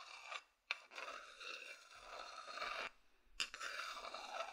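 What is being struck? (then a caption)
Empty wooden bowl. A medium, hollow, empty wooden bowl held in the hand is scratched with the fingers and then with a wooden chopstick. Dry, bright rasping scrapes fill the clip with no low end, broken by a couple of short, sharp ticks and brief pauses.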